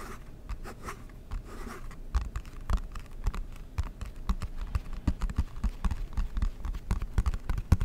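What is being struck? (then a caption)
Cardboard board game box. Fingertips and nails tap and scratch the lid of a large, flat, rectangular, dark blue cardboard Monopoly board game box, which is hollow and held in both hands close to the mic. Soft scratching in the first couple of seconds gives way to a quick, irregular run of dull, hollow, low thumps that stop short, with faint scraping between them.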